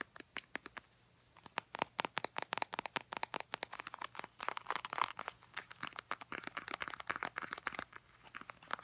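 A small, filled Clean & Clear face wash squeeze tube made of soft plastic is tapped and scratched with long painted nails. Rapid, dry clicks and crinkly scratches follow one another in dense bursts over nearly nine seconds. The sound is bright and thin, with almost no low end and no ring after each tap.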